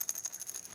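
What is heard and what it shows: A glass seasoning jar with its lid on, holding chocolate chips, is shaken, giving a bright, thin rattle concentrated almost entirely in the high frequencies. The rattle pulses in quick bursts, each dying away almost instantly. The glass gives it a different sound than a plastic container would.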